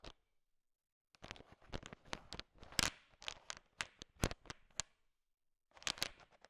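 A thin wooden stick stirs a large pile of small, solid, sugar-shell-coated chocolate M&M candies, so the candies click against each other. The clicks are bright and dry and come in quick rattling bursts, separated by short silent pauses near the start and near the end.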